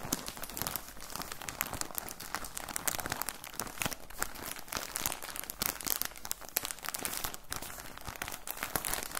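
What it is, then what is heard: Plastic bag of cotton balls. Fingertips squeeze and crinkle a clear plastic bag with orange print, full of soft cotton balls. The result is a steady stream of dense, crisp crackling with bright high-end sparkle and fast, dry crinkles that stop instantly with no ring.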